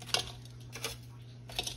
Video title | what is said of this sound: My Most Popular Super Bowl Party Recipe/OLD SCHOOL BREADED CRISPY BUFFALO CHICKEN WINGS | you can hear how crispy here how crispy they are y'all that's what you want